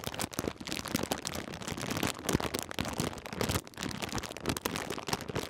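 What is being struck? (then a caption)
Plastic foil snack bag. A partly full Twiglets snack bag made of crinkly plastic foil is held in both hands and crinkled and squeezed with the fingers. Dense, dry crackles and sharp snaps run continuously across a broad range from low rustle to bright hiss, with brief louder bursts. Each crinkle dies away almost instantly, with no ring.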